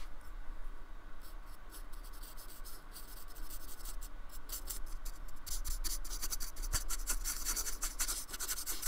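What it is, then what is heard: Brush scratching on styrofoam. A thin paintbrush with a metal ferrule is stroked and scratched across the bumpy painted surface of a small, flat, solid slab of white polystyrene foam lying on a wooden table, while the other hand holds the slab. The strokes make a dry, bright, scratchy rasp over a steady low hum, growing denser and louder in the second half.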